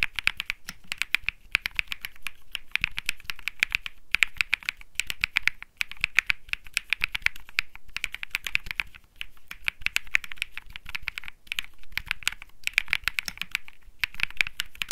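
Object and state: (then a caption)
Mechanical keyboard being typed on. Fingertips type steadily on a compact Think 6.5 mechanical keyboard with Bsun Lollipop switches, an aluminum case, a PC plate and plastic keycaps. It produces a dense run of short, crisp clacks centered around 2.4 kHz with a soft low thock under each press. The clacks come in bursts separated by brief pauses, and each key dies away almost instantly.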